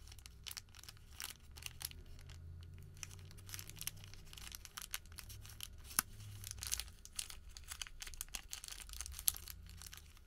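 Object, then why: Folded thermal paper receipt. A small, folded, printed thermal paper receipt is pinched and twisted between the fingertips, giving dense, bright crinkling and tearing-like crackles. The crackles come in quick, sharp bursts over a low background rumble that runs throughout the clip.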